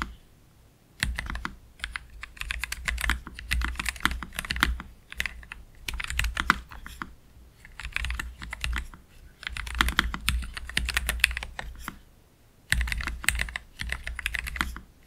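Both hands type slowly with their fingertips on a black Keychron K3 Pro low-profile mechanical keyboard with Gateron Red low-profile switches and plastic keycaps, resting on a desk mat. Short, crisp key clacks come in uneven bursts, each tap a bright click with a soft low thump beneath it. Brief pauses break up the typing, including a longer gap near the end.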